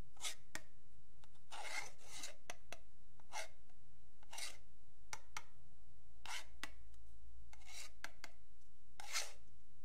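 A metal pen tip scrapes along the marked edge of a long, flat, solid wooden yardstick held by fingertips. Short, bright, rasping strokes repeat in quick bursts over a steady low hum.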